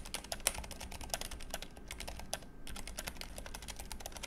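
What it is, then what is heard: Low-profile mechanical keyboard being typed on. Fingertips of both hands type rapidly on a compact, backlit Keychron K3 low-profile mechanical keyboard with brown switches and grey plastic keycaps. A quick, continuous stream of short, crisp, bright key taps runs throughout, with a brief lull around halfway, over a low steady hum.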